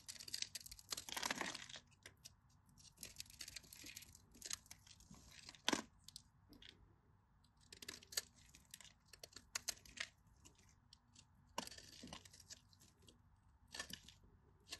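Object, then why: Bar of soap. A craft knife scores lines into a solid, dry, cream-colored bar of soap held in the hand and scrapes flakes off its surface. The sound is a series of crisp, bright scratching and tearing bursts with soft crumbly crackles between them, at a quiet level.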